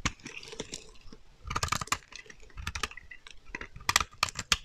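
A metal utility knife blade scrapes a solid, dry teal bar of soap held in the hand, shaving off crumbly flakes. A series of quick, crisp, bright scraping clicks comes in bursts, each dying away almost instantly.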